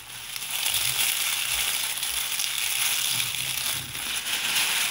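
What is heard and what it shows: Hands with long painted nails gather handfuls of dark dried rose petals from a loose pile on a white surface, crushing and rubbing them between the fingers. A steady, bright, dry crackling rustle fills the clip, with almost nothing in the low end.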